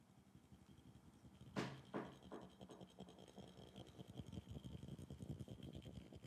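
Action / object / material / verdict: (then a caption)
tap / glass bottle / glass / none. A glass bottle is tapped as an ASMR trigger with an echo effect added. Three clear, ringing taps with decaying echoes are followed by a quicker run of softer, uneven taps. A low hum and a faint steady high tone run underneath throughout.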